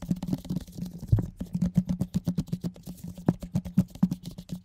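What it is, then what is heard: Plastic container lid tapped. A large, round, hollow orange plastic food container lid, held up in gloved hands, is rapidly tapped with gloved fingertips. The result is a quick, uneven run of soft, dull, hollow thumps with a low resonant body. Each tap dies away almost at once.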